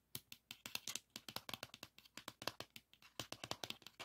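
A pink 3.5-inch plastic floppy disk is held in one hand while fingernails scratch and tap its label and shutter. About 28 quick, dry, bright clicks and scratches follow one another at an uneven pace, each dying out almost instantly. The sound is quiet and light, with almost no low end.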